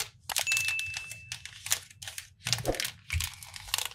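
Fingertips handle and crinkle the printed plastic film wrapper of a flat, hand-sized Kinder Chocolate multipack full of bars, possibly beginning to open it. Bursts of bright, dry crinkling come and go in quick clusters, with sharp crackles and quiet gaps between. A faint thin tone lingers briefly under the early rustling.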